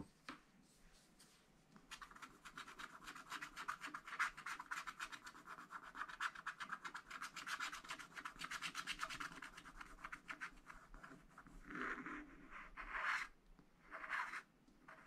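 A short wooden stylus scratches and rubs the black coating on the upper flower of a wax-coated scratch-art paper pad held in both hands. Quiet, dry, bright scratching strokes run in a fast, uneven stream of about four per second after a sparse start. Near the end they break into a few louder separate bursts.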